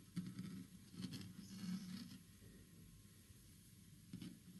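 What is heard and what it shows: Fingertips and nails tap and scratch across the grain of a large, flat, solid green-stained wooden panel. The result is soft, low, muffled thumps mixed with dry scratchy rustling, with a quiet stretch before a final tap.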